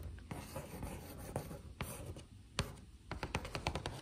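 Long acrylic nails tap and scratch across the front panel of a hollow, printed cardboard biscuit box. A soft, continuous scratching rasp runs throughout, broken by sharp clicking taps that cluster more densely toward the end. Each tap has a dull, hollow low body and dies away almost at once.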